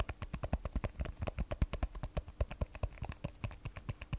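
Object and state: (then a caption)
Glass and steel smartphone. An iPhone 12 Pro held sideways in both hands has its glass back and steel frame tapped with long nails. About thirty-three quick, dry clicks follow in a rapid, uneven rhythm, each with a soft low thump and almost no ring.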